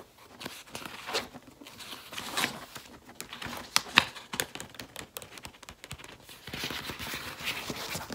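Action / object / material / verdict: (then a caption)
tap / paper pages of a spiral-bound planner / paper / none. Long red-painted nails tap on the open paper pages of a large spiral-bound planner lying open on a table. They make quick, bright, crisp ticks with a papery crinkle between them, and each tap dies away almost immediately.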